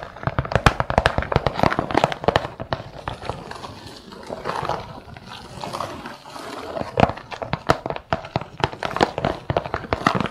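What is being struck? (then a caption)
Plastic bead organizer with beads. Long nails and fingertips tap the lid of a round, clear plastic bead organizer with many compartments, filled with assorted glass and metal beads and closed with its lid. Rapid, crisp clicking taps fill the start and end of the clip, with a softer, quieter stretch of lighter tapping in the middle. Each tap is short and dry, with almost no ring.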